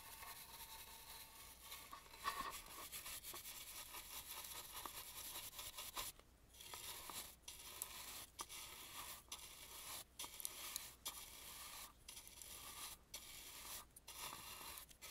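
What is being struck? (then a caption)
Carved painted wooden mask. A black bristle brush sweeps over the cheek and ear of an antique carved, painted wooden mask. The result is a steady run of bright, scratchy, rustling strokes, broken by brief pauses between sweeps.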